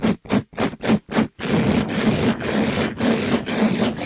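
A palm-sized, rectangular, soft and compressible pink sponge with a glittery plastic-mesh cover, held in a black-gloved hand, is rubbed and brushed against a microphone grille. Five quick, separate scratchy strokes come first, then a continuous rough scraping and rustling that swells and dips. The sound is broadband with a hollow low hum around 220 Hz.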